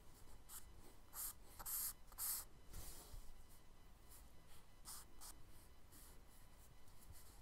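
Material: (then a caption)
Paper. A charcoal stick held in the fingers scratches and rubs short strokes across the flat brown kraft paper page of a spiral sketchbook. Quick, bright, dry scratching bursts are loudest in the first few seconds, then lighter, softer strokes follow over a faint low background rumble.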